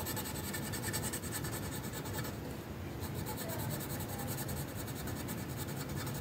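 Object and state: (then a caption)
Colored pencil on paper. The tip of a magenta wooden colored pencil colors a flat printed paper coloring sheet resting on a hard surface. Continuous rubbing and scratching strokes produce a steady, dry scratchy texture with bright rhythmic grain over a low rumble. There is a brief softer lull midway before the strokes resume.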